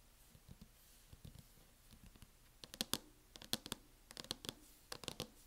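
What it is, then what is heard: Plastic hard-shell laptop case. Fingertips and palms rub and sweep across the lid of a closed MacBook fitted with a teal matte plastic snap-on case, a thin hollow flat shell resting on a table. Quiet, bright scratchy swipes and short dry clicks come in an uneven rhythm, growing busier and louder in the second half over a faint hiss.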